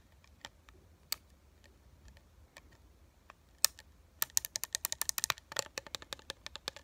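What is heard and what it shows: A small, flat Disney "Star Tours Grand Opening" collectible metal pin, mounted on a printed cardboard backing card held up in one hand, is tapped with long acrylic nails. A few scattered, sharp taps give way after about four seconds to a rapid run of quick, bright, dry clicks with no ring.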